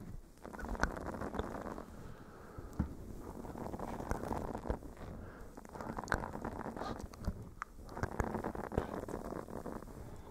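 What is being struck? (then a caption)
Silicone scrubber pad. A blue silicone face scrubber pad with a bristle texture is scratched with fingernails on top of a fluffy microphone windscreen. The result is a muffled, low, continuous rustling and crackling scratch with scattered soft clicks, and almost no high sound.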